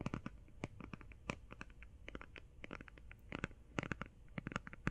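Painted nails tap and scratch fast on a small, flat, hand-sized cardboard-covered "Dream St." eyeshadow palette that is closed. The result is a quiet, rapid run of dry, crisp clicks and light scratchy rasps that die away almost at once, over a low, soft rumble.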